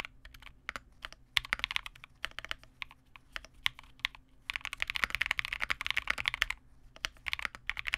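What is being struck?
Plastic mechanical keyboard.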